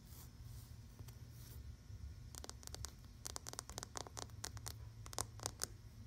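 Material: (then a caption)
Fabric. Fingertips and long nails scratch and rub across a flat, soft dark navy fabric US Army banner, a flag or blanket printed with a yellow and white star and U.S. ARMY lettering. A quiet, soft rubbing gives way to a run of short, crisp, hissy scratch strokes over a low steady rumble.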